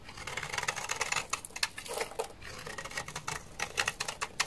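A solid, dry bar of white laundry soap is held in the hand and scraped with a utility knife into white flakes. The scraping makes a rapid run of short, crisp, bright scratches and crackles with almost no low end. Each stroke cuts off sharply, with no ring afterward.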